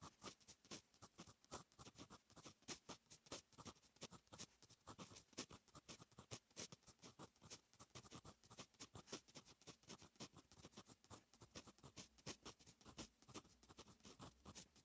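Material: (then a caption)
Paper. A fine metal fountain pen nib writes on a lined paper notebook page, making a quick, steady run of short, bright scratching strokes. Each stroke stops almost at once, with soft pauses between bursts throughout the clip.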